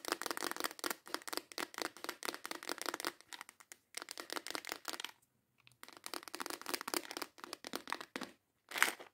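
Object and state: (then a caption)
Clear plastic organizer box. A clear plastic organizer box holding nail tips is tapped and scratched quickly and intensely with long acrylic nails and tilted, giving a dense run of sharp, bright clicks and scraping crinkles. The activity comes in bursts with brief pauses, then ends with a short loud rattle.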